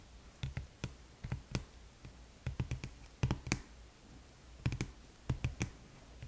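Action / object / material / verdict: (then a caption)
tap / small cardboard box / cardboard / none. Long nails tap and scratch along the side of a small red cardboard gift box held upright on its edge. About eighteen short, dull taps with a faint clicky edge come in quick clusters, each dying away almost at once over a quiet background.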